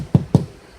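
Two knocks on a drywall interior wall during an HVAC mounting plate installation give dull, low thuds centered around 140 Hz that die away almost at once. The hollow sound shows the section is hollow drywall between studs.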